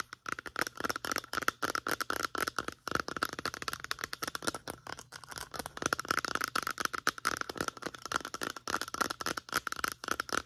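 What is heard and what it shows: Long nails tap rapidly and steadily on the sides of a medium-sized white plastic lotion bottle with a pump. The result is a dense stream of dry, clicky ticks with a faint hollow tone near 1.4 kHz and bright edges, each tap dying away almost instantly.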